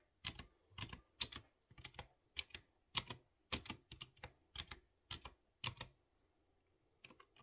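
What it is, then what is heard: Mechanical keyboard with chrome keycaps. Fingertips slowly tap keys on a light blue plastic mechanical keyboard with round chrome keycaps on clear-housed blue switches. Each press gives a sharp, bright click that dies out almost at once, in an uneven rhythm. A short pause comes before the final few taps.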